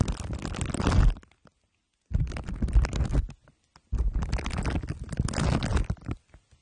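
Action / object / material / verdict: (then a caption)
scrape / microphone head wrapped in aluminium foil and plastic wrap / aluminium foil / none. Two glue sticks are rubbed over the top and sides of a microphone head wrapped in crumpled aluminium foil under clear plastic wrap. The result is deep, rumbling, sticky crinkling and scraping, heavy in the lows. It comes in three long bursts separated by short silences.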